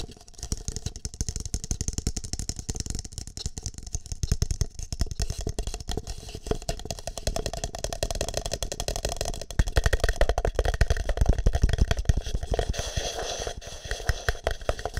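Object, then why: Plastic cup. Fingertips and nails tap the side of a single empty green plastic cup held against the microphone. The taps form a dense, uneven patter of boomy low thumps with light, bright clicking on top. The tapping grows louder and busier around the middle of the clip, then eases slightly toward the end.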